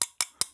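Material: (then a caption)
Plastic. A probe taps three times on the body of a Yale Y-121/50 padlock clamped in a milling machine. Each tap is a short, bright click with almost no ring and no low end. The body had flexed in the clamp, which is unusual for thick aluminum, and the taps show it is plastic, not metal.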